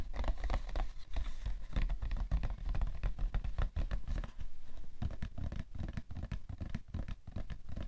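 Fingernails scratch and fingertips tap the top of a cardboard tissue box, with some light knocks mixed in. The result is a rapid, dense patter of dull, low, thumpy taps and scratchy rustling that die away instantly with no ring.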